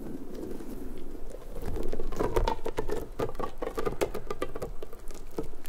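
A large, hollow, pink, stretchy rubber puffer ball is squished in the hands, then stretched wide by long-nailed fingers, its spikes flapping. It makes soft, dense, rubbery pattering and squeaky creaks with quick flicking taps, mostly low and muffled.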